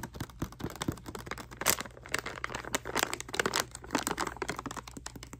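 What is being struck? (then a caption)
Plastic foil bath bomb packet. Long manicured nails tap and scratch a small printed plastic/foil bag holding a bath bomb, held in both hands. The crinkly packaging gives quick, dry crackles and clicky taps with bright, high rustling and brief scratchy bursts, over a faint low hum.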